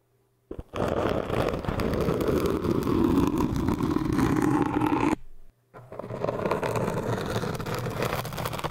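The edge of a bent paper or card business card, held in both hands, scrapes and rubs against an upright orange hard foam cylinder of solid, pool-noodle-like foam. It makes a dense, continuous scratchy rasp with a low-mid body, running for about four and a half seconds. After a brief pause it resumes slightly softer until the end.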